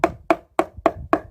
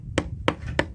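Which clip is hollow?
The first.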